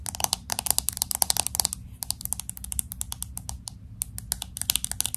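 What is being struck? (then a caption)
Smartphone with glass back and aluminium frame. Fingernails tap quickly on the glass back of a pink smartphone with an aluminum frame, moving around the camera bump. About three dozen sharp, bright clicks come in rapid bursts, with a brief lull near the two-second mark. Each tick dies away almost instantly over a faint low hum.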